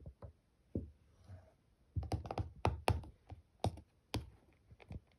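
Fingertips and nails, with rings on the fingers, tap and scratch the lid of a small rectangular clear plastic slime tub that is closed and full, with a printed "Cheese Slime" label on the lid. The result is an irregular run of short, soft, dull taps, mostly low and thuddy, with quick decay and a brief faint scratch between them.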